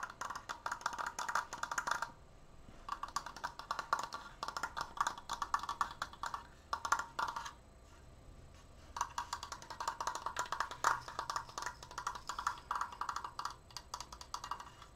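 Long painted nails tap fast along the edges of a large, open triangular wooden triforce frame made of slats. Rapid bursts of crisp, hollow wooden clicks with a woody ring around 900 Hz come in runs, broken by short quiet pauses near 2 and 8 seconds.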